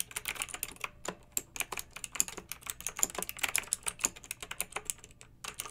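Long-nailed fingertips type continuously on a pink backlit, typewriter-style plastic mechanical keyboard with round metal-rimmed keycaps. Around 35 quick, bright, clicky keystrokes come through with almost no low end and die away almost instantly, at an uneven, steady pace.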